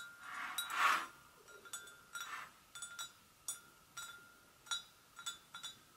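Long nails gently tap the rim and sides of an empty, hollow white porcelain gravy boat. Each tap gives a light, clinking ring around 1.3 kHz with bright overtones, and the taps come as a series of soft, separate clicks. Each ring fades quickly into a quiet background.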